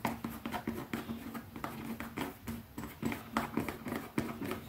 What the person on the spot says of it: Fast tapping on a leather pouch